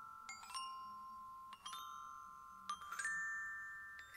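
Aluminium glockenspiel bars on a metal glockenspiel are struck with a yellow plastic-headed mallet in short clusters of quick notes. Each strike gives a bright, bell-like ping with a pitch around 1.8 kHz and shimmering overtones, and the notes ring on for about a second at a quiet level.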